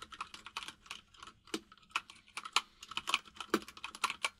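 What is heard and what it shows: Both hands type rapidly with the fingertips on a white full-size mechanical keyboard with plastic keycaps resting on a desk. The result is a dense run of short, bright clicks and clacks, with some heavier keystrokes standing out, that die away almost instantly.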